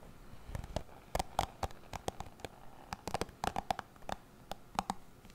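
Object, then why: Plastic cushion hairbrush with bristles. Fingertips run and scratch over the bristle tips of a dark plastic cushion hairbrush held close to a microphone, making a quiet series of short, dry clicks and flicks. Each snap rings around 785 Hz with bright edges over a soft low rumble, and the flicks come in irregular clusters throughout.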